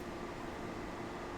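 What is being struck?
Nothing is struck.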